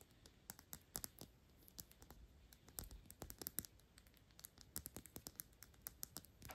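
A thick clear glass Byredo perfume bottle with a paper label and black cap is held in hand and tapped quickly with long pink acrylic nails, then brought close to the face at the end. Rapid, uneven bursts of short, sharp clicks and taps with bright, glassy tops sit over a faint low hiss, with almost no ring after each hit.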